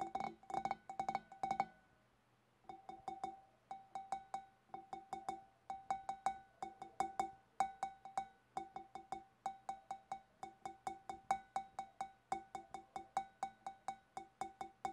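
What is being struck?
Glass fish bowl.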